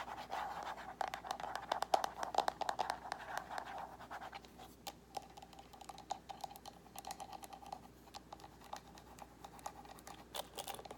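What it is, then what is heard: Plastic hairbrush back scratched with nails. Long nails scratch and tap along the smooth, glossy, hollow plastic back and handle of a paddle hairbrush with a floral print. A dense, raspy scratching with a steady midrange tone fills the first four seconds, then thins into lighter scraping broken by quick, sharp, bright taps and clicks that keep coming irregularly to the end.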